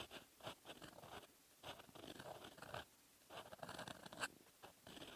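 A metal fountain-pen nib scratches across a lined paper notebook page while writing in red ink. Dry, bright scratching strokes come in bursts separated by brief quiet pauses, with a sharp tick near the end.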